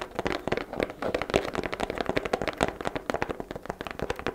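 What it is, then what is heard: Hollow cardboard gift box. A hollow white cardboard gift box with a ribbon is tapped rapidly on its lid and sides with long black nails. The result is a quick, continuous stream of light, dry, hollow taps with a midrange tone and almost no ring after each one.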